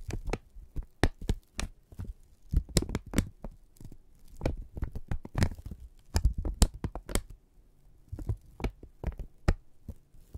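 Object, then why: Thin kraft paper strip. A single flat strip of thin brown kraft paper is held taut by both hands and pulled and crinkled with the fingertips and thumbs. It gives a quick, uneven run of dry crinkles and sharp crackles, each very brief, with a soft low thump under many of them and quiet gaps between bursts.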